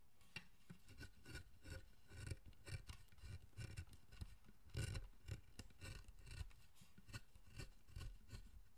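A wooden-handled chisel pares and scrapes the surface of a solid pale wood figure, a carved statue of the guardian Zōchōten, held in the hand. Quick, dry rasping strokes repeat steadily with soft low thumps and brief scraping bursts that die away almost instantly.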